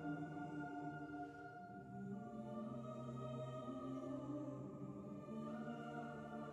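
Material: Nothing is struck.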